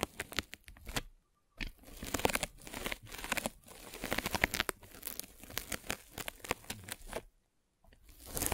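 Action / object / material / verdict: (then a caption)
scrape / polyethylene foam mesh net / polyethylene foam / none. A metal-spiked derma roller is rolled across a white polyethylene foam mesh net stretched over a microphone. It makes dense, bright crackling and tearing crinkles in rapid bursts, broken by two brief silent gaps early and late in the clip.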